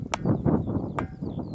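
The top of the Ringing Stone, an erratic stone boulder on Tiree, is struck, giving dull, low thuds around 164 Hz that die away almost at once, with faint high chirps in the background. Struck on top, the stone rings poorly; it rings very differently depending on where it is struck.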